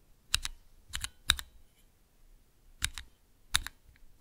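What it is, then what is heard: Clear plastic key switch tester. Fingertips press the keys of a small clear plastic Cherry MX key switch tester, producing short, bright clicky taps that mostly come in quick pairs as each key goes down and springs back up. The clicks are crisp and dry with almost no ring, separated by brief quiet gaps.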